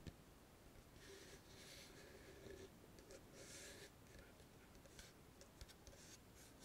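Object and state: Wooden chest box.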